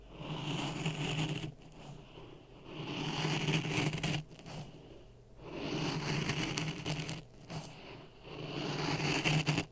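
A wooden stick stirs dry sand in a clear plastic cup resting on a red microphone. The sand gives a gritty, rustling scrape with a low rumble, in four stirring bursts separated by brief quieter pauses.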